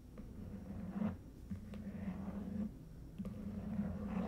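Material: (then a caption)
Cardboard. Long fingernails tap and scratch along the sides and ends of a long red Stuhrling watch box, about 30 cm, made of lidded, hollow cardboard covered in smooth coated paper. Soft scratching swells rise and fall over a low, hollow, steady resonance, broken by a few faint, sharp taps.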